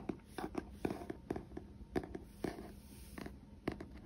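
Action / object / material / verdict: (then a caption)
tap / paperback book with glossy card cover / paper / none. A medium paperback novel, "They Promised Me the Gun Wasn't Loaded," a solid stack of paper with a glossy printed card cover, is first held in the hands, then laid on a wooden table. Fingertips and short nails tap and scratch its front cover. The result is a series of soft, dull, low-pitched taps that die out almost at once, with light scratching between them.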